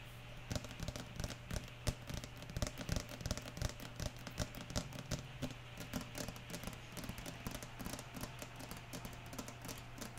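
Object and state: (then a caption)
Plastic pump soap bottle. Long nails tap rapidly and unevenly on a medium-sized, clear pink plastic pump bottle filled with liquid soap, held in the hands. The result is a quick series of short, dry clicks and patters with a steady low hum underneath and rain heard in the background.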